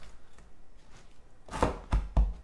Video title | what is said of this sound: [ All Clad ] COMMENT CUISINER avec son GRILL ALL CLAD, Live n°2 : Boeuf / Saumon / Pizza ! | les bords sont quand même bien croustillants